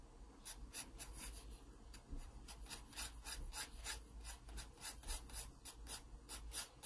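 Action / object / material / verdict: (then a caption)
scrape / wooden pencil on paper sketchbook page / paper / none. A wooden pencil scratches dense shading strokes across the page of an open paper sketchbook. Rapid back-and-forth strokes make bright, raspy scratches that rise and fade one after another. A quiet, steady low hum runs underneath.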